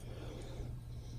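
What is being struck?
Nothing is struck.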